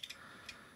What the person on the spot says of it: looking at it in the package i thought oh they did a plastic hood but that sounds like metal